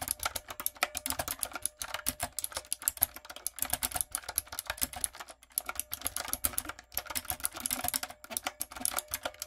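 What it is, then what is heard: Mechanical keyboard with round plastic keycaps. Fingertips and long coffin nails type rapidly on a backlit, typewriter-style mechanical keyboard with round brown plastic keycaps on a dark frame. The result is a dense stream of bright, clicky key taps that stop almost instantly, broken by brief pauses in the typing.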